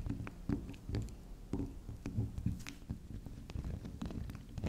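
Long acrylic nails tap and scratch the face and rim of a small, round, solid pink spiral soap that is soft. Quiet, muffled, low thuds repeat unevenly, with short, faint, bright scratchy ticks between them. Each sound dies away almost at once.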